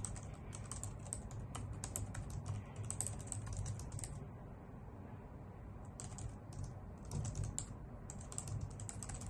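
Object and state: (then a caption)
Plastic computer keyboard being typed on. A white full-size plastic keyboard with hollow key caps, resting on a wooden desk, is typed on with long nails and fingertips. It makes a steady stream of quick, bright clicks over a low, hollow thud, with a brief lull in the middle before the typing picks up again.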